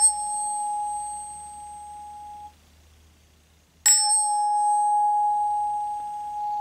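An aluminum tuning fork, the original used as the mold for a silver one, rings with a clear, pure tone near 800 Hz and a bright overtone. The ring is cut off at about 2.5 seconds. The fork is struck again near 3.9 seconds and rings clear and sustained to the end, the familiar sound of a tuning fork.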